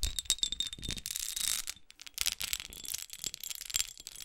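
Long acrylic nails scratch and tap the faceted surface and edges of a small red, pyramid-studded glass perfume bottle held in the hand. Quick, bright clicks mix with dense, hissy scratching, with a faint high glassy ring under the taps. A busy run of scratches in the middle gives way to a brief quiet moment, then another flurry of crisp taps and scrapes.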